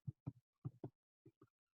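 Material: Bread.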